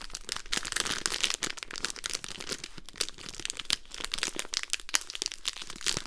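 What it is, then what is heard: Foil-paper wrapped pack of mints. A small, full pack of Polo mints in a foil-paper wrapper is crinkled and scratched close up with long nails and fingertips. It makes a dense, continuous run of bright, crackly crinkles and sharp scratching ticks with very short decay. The ticks are bunched too tightly to count.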